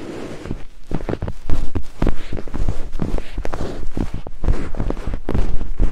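Two thin wooden picks held in the fingertips scrape and tap against white silicone binaural microphone ears. Quick, dry scratching strokes follow one another closely, giving a dense, rustling, bass-heavy texture with little high end. Each stroke dies away almost immediately.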